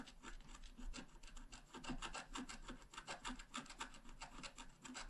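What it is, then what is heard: Scratch art card being scratched. A wooden stylus scratches across a thin, flat, black-coated scratch art card in quick, repeated strokes. Each stroke makes a dry, bright rasping scrape with a slight low body, over a faint steady low hum throughout.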